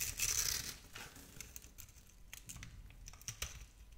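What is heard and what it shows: A metal blade scrapes small cubes off a palm-sized solid bar of purple and pink striped soap held in a hand with long nails. A loud, bright, crisp scraping burst opens the clip, then settles into quieter crinkly scrapes broken by sharp, brittle ticks as the cubes come away.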